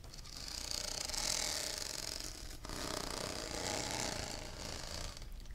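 Fingernails scratch along the ribs of a hollow, blue, ribbed plastic cylindrical tumbler, making a fast, uneven ratcheting rasp. The bright, high clicking runs in two long strokes, with a brief break between them.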